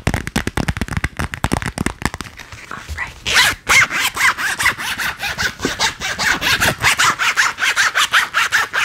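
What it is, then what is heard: Vinyl cosmetic pouch tapped and scratched. A small, soft, lightly filled purple metallic vinyl zipper pouch with a clear window and printed shapes is held in both hands and tapped and scratched with long painted nails, then held beside the face. A fast run of sharp, dry taps gives way to a steady rhythm of bright, crinkly scratching strokes centred around 2 kHz.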